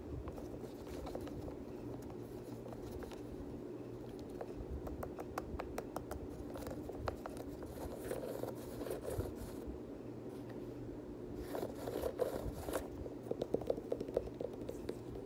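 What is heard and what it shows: Fingernails tap and scratch the plastic lace lock, laces and suede upper of an empty black suede Air Jordan 6 UNC sneaker. Quiet, sharp clicking taps are heard over a steady low hum, mixed with soft scratchy rustling that grows busier and slightly louder in the middle and again around the 12-second mark.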